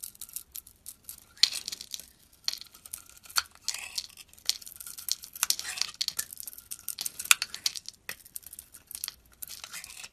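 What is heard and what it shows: A utility blade shaves curls off an oval Yardley soap bar with a blue surface and white inside. The strokes give repeated short, dry, crackly scraping bursts that are bright and high, with no low end. The result is a steady run of crisp shaving sounds separated by brief pauses.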